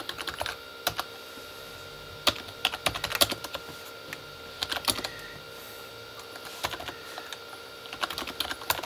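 A full-size Corsair K35 backlit mechanical keyboard with plastic keycaps on a hollow plastic body is typed on slowly with fingertips, first one hand and then both. Bright, clicky key taps come in short, scattered bursts over a faint steady hum. Each clack is sharp and dies out almost immediately.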